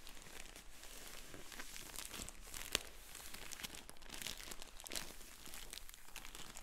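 Fingertips rub the paper label and crinkle the plastic of a sealed, filled yellow polyethylene shipping mailer as the bag is handled and turned over. The result is a steady, quiet bed of bright, dense crinkling and rustling with soft low rumble, broken by a single sharp crackle partway through.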